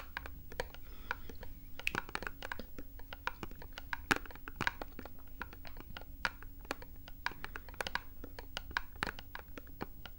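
A small printed cardboard box is tapped and scratched with long nails, giving a quick run of sharp, dry clicks and light scratches. The taps are short and unevenly spaced over a faint low hum.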